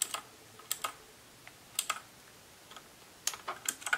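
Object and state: Plastic mechanical keyboard.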